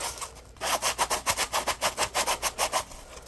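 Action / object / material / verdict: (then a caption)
scrape / polymer foam sponge / polymer foam / none. A dry, yellow-orange Scrub Daddy Puppy polymer foam sponge is rubbed and scratched with fingertips and short nails. After a brief quiet start, about 14 quick rasping strokes come in a fast, slightly uneven rhythm, bright and scratchy with little low end, before fading to a soft hiss.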